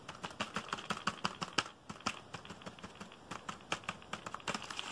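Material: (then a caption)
Plastic. Fingertips type fast on a black plastic computer keyboard held diagonally, producing a rapid, uneven stream of sharp, dry key clacks. The clicks are short and bright with almost no ring, a few louder strikes stand out, and there is a brief pause just before the two-second mark.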